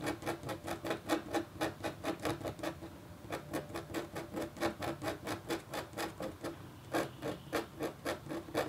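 A red-handled, metal-tipped stylus scratches a flat, black-coated copper foil scratch art board in a steady run of about thirty short, rhythmic strokes. Each stroke is a brief, dry scrape with a faint tonal ring near 330 Hz and bright, hissy edges, with a few softer, quieter stretches between bursts.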